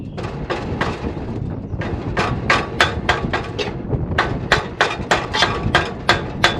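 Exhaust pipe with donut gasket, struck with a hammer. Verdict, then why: Seated. A hammer taps an exhaust donut gasket onto a scaled exhaust pipe in a quick series of sharp, bright metallic knocks over a low rumble. The changed sound shows the hammer is now striking the end of the pipe, meaning the donut is fully seated right to the pipe's end.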